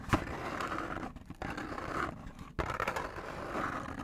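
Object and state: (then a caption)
Cardboard food box. A small, hollow cardboard McDonald's box is held in both hands in front of a microphone and scratched with fingernails. A steady, dry, rasping scrape runs throughout, with a sharp tap at the start, brief quiet dips near the middle, and a renewed burst of scratching after a short pause.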